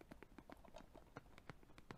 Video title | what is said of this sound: ASMR Tapping on my Video Game Collection with Layered Audio | tapping on game cases I think that sounds pretty good